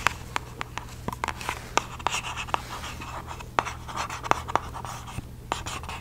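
Long glossy fake nails tap and scratch the lid and sides of a small, hollow, palm-sized red Nike-branded cardboard shoe box. The sound is a quick, uneven series of sharp, dry clicks with short scratchy rustles between them. A faint steady low hum runs underneath.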